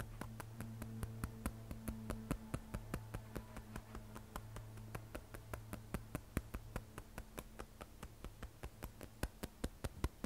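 Long nails tap and scratch the matte glass back of an iPhone 12 Pro, a glass and stainless steel smartphone held upright, near the camera bump. Dozens of sharp, bright, very short clicks come at an uneven pace. They sit over a quiet, steady low hum with faint tonal bands.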